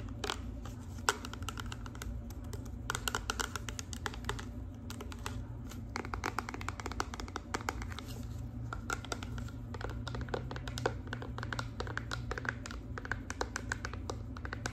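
A hand-sized clear plastic Bodycology body wash bottle with a paper label, apparently filled with liquid, is held upright and tapped with long acrylic nails. Quick, dry clicks come in a dense, irregular stream with a faint tone near 1.4 kHz and bright edges. A steady low rumble sits underneath throughout.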